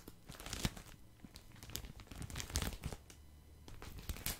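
A hand-sized pack of cotton pads in thin, crinkly plastic wrap is squeezed and scratched with fingertips close to the microphone. Soft, irregular crinkles and crackles come in bursts, with bright rustling edges over a low rumble. The wrapper keeps crinkling throughout.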